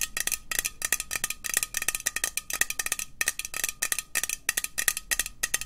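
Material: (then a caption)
Thin metal. Long nails tap fast on a hollow green metal aerosol can with a white cap. The result is rapid bursts of bright, clicky metallic taps with a thin ringing tone near 1.9 kHz that dies almost at once.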